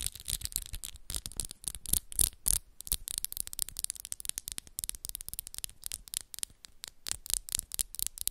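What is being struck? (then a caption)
Long acrylic fingernails. Long, solid black and pink acrylic nails tap and scratch against each other at the tips in close-up. Fast, dense bright clicks and short scratchy rubs come in an uneven, quick rhythm with a few louder taps.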